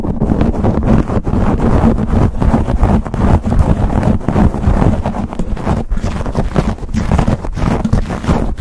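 Fingertips and nails scratch and rub fast across a black foam windscreen on a silver condenser microphone. The result is a dense, steady, low-heavy rumble of scuffing bursts, boomy around a low pitch, with almost no high content and no clear gaps between strokes.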